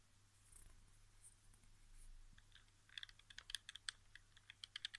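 Fingertips tap the touchpad, sticks and buttons of a hollow white plastic PS4 game controller resting on carpet. After about three seconds of quiet, soft scratchy rubbing, a quick run of about sixteen sharp, bright plastic clicks follows. Each click is dry and dies instantly, over a faint low hum.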